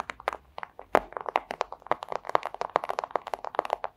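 Long acrylic nail tips tap rapidly on a flat, thin, clear plastic pouch. About two dozen short, crisp clicks and crinkly ticks come in an uneven rhythm, centered in the midrange with bright edges and no low end. Each tap dies away almost instantly.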